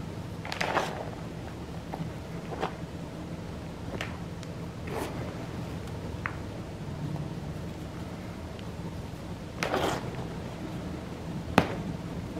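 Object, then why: Crumbled gym chalk powder and chunks squeezed by hand. A pile of crumbled purple-pink dyed gym chalk (magnesium carbonate) powder and small chunks in a white bowl is squeezed and rubbed between bare hands with fingertips and palms. The result is a series of soft, crunchy squishes with bright, brief crackles over a steady low hum. The sound stays quiet and close throughout.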